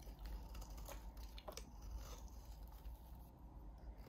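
A utility knife blade shaves and scrapes a solid, hand-sized pale blue bar of soap, peeling off curls. Quiet, dry scraping and soft crackly ticks sit over a steady low hum, with a few brighter scrapes standing out briefly.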